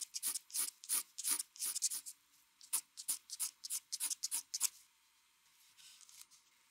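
The metal tip of a mechanical pencil draws fast strokes across a large, flat sheet of white drawing paper on a desk, with the other hand resting on the sheet. Each stroke makes a short, bright scratching rub, and the strokes come in a quick, uneven run. After about four and a half seconds the strokes stop and only a faint hush remains.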